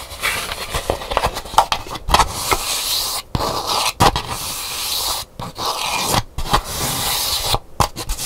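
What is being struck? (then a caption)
Calabash gourd bowl. Long nails scratch the inside of a hollow, empty calabash gourd bowl with a painted hibiscus interior, set upright. The result is a dense, bright, rasping scrape with a hollow mid-range tone. It is broken by brief silent gaps and sharper clicky strokes.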